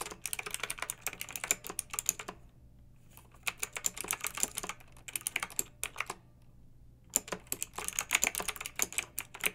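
Fingertips and long nails type with both hands on a pink backlit plastic mechanical keyboard with round typewriter-style keycaps. The result is bursts of bright, sharp clicks with very short decay, separated by brief pauses. A faint low hum sits underneath.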